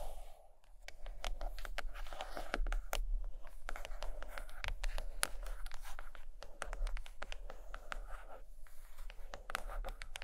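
Long acrylic nails tap and scratch the glossy paper-laminated board cover of a large, closed hardcover book of drawings lying flat and solid on carpet. Quick, irregular, sharp clicks mix with dry scratching over a steady low hum.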